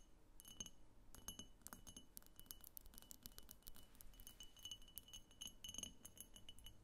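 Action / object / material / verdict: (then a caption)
tap / glass vase / glass / none. A medium, hollow, egg-shaped diffuser vase of opaque pink glass on a clear glass base stands on a table and is tapped on its sides with long fingernails, both hands around it. Quick, quiet, bright clicks and clinks patter steadily, each with a brief glassy ring near 3 kHz that dies away almost at once.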